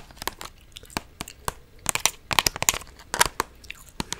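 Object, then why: Clear plastic blister pack on card backing. A small purple toy in a clear plastic clamshell blister pack on a cardboard backing card is held close and tapped and scratched with long orange nails. The result is a quick series of crisp, crinkly, crackling clicks and scrapes. They are bright and high-pitched, with almost no low end and no ringing.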